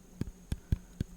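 An apple is tapped four times, each tap a soft, dull, low thud that dies away almost at once. A faint steady tone hums quietly underneath.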